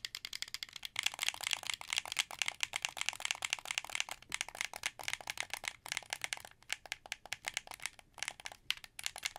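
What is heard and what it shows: A translucent blue, hollow plastic wired Xbox 360 controller is held in both hands while fingertips rapidly press and click its buttons. The result is a dense, continuous stream of short, dry, bright plastic clicks and rattles that cut off almost instantly, with no low-end body.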